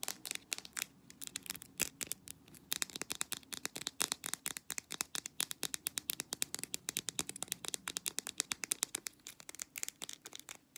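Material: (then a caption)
Plastic. Long black nails rapidly tap and scratch a small white plastic jar of petroleum jelly with a blue label and lid, presumably full. A dense stream of short, dry, bright clicks and scratches rings out, each dying away almost instantly with almost no low end.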